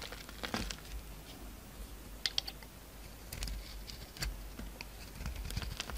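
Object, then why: Soap bar scraped with a thin blade. A solid pink bar of soap with a purple coating, held in the hand, is shaved with a utility-knife blade so flakes peel off. Quiet, dry scraping is heard with short, crisp, bright ticks and crackles over a low, steady rumble.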